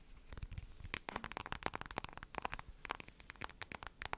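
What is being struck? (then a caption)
Smartphone in a glossy plastic case. Long nails tap and scratch the glossy lavender plastic case of a smartphone held near the microphone. The result is a dense run of quick, dry clicks and crackly scrapes with bright edges and almost no ring.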